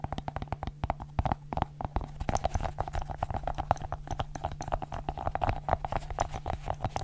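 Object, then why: Silicone fidget ball. A small, soft, hollow orange and blue silicone pop-it fidget ball with bumpy bubbles is held in both hands close to the microphone and scratched and pressed with long acrylic nails and fingertips. Rapid, dense clicking and tapping runs throughout, with dull low thumps under a steady low hum and a faint mid-range tone.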